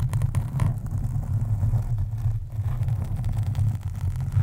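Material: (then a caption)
Foam. Long acrylic nails on both hands scratch a black foam windscreen on a USB microphone. The result is a steady, deep, muffled rumbling scrape, with nearly all of its energy in the low range around 110 Hz and almost no high or bright content.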